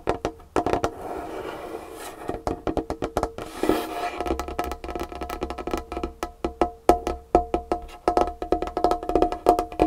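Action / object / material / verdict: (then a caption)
tap / wooden tabletop / wood / none. Long painted fingernails of both hands tap quickly on a large, solid dark-wood tabletop. The result is a dense run of short, dry clicks and knocks with a woody tone around 700 Hz, each dying away almost instantly. A faint low hum sits underneath from about the four-second mark.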